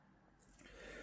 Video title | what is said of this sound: Tentang Nutrigrow Plus, produk pertanian dan perkebunnan dari PT. Berkat Mitra Makmur. | sedikit padat tapi dikocok saja seperti ini, kocok, diayunkan sampai berbunyi seperti ini baru digunakan